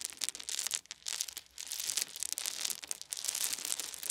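Cupped hands gather and pour small solid wooden beads onto a fluffy blanket. The result is a dense, bright rattling and clicking with a crinkly texture and almost no low end, easing briefly between about 0.8 and 1.6 seconds before picking up again.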